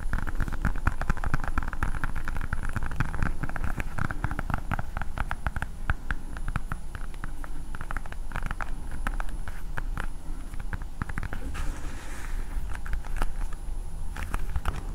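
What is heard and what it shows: A hand-sized hard blue plastic ball with a Spider-Man sticker is tapped and scratched with long nails close to the microphone. A dense, continuous stream of quick clicks, taps and scratchy crackles runs throughout over a heavy low rumble, with short bursts of brighter scratching near the end.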